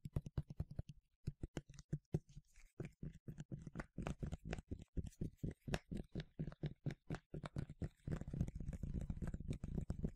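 A medium yellow plastic sunscreen spray bottle, hollow and partly filled, is tapped rapidly with fingertips and nails. The short, dull, low thuds come in quick, uneven bursts with a brief pause near the start, then grow denser and more continuous toward the end.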